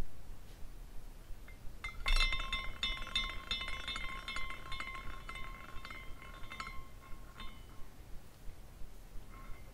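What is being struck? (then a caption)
Glass carousel figurine with hanging glass horses. A small decorative glass carousel figurine with hanging glass horses on a rainbow glass base is spun by hand at its top spindle, so the horses swing and clink together. After a few faint taps, a burst of bright, chime-like glass tinkling begins with a sustained ringing tone beneath it. It continues as irregular light clinks before fading, with a last soft clink at the end.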